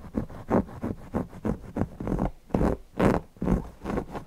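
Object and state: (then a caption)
Cotton fabric owl cushion. Fingertips scratch and rub the fabric around the beak and body of a stuffed cotton owl cushion. The result is a series of soft, rhythmic rasping strokes, dull and low-to-mid in tone with little bright content, each stopping short with no ring.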